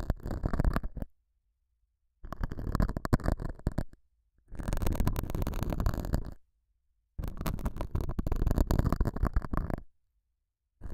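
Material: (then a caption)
Felt. A metal dental scaler hook scratches the surface of a small, solid, square beige felt pad mounted over a small lavalier mic. The result is dense, low, rumbling scratching in separate bursts of about one to three seconds, with short silences between them.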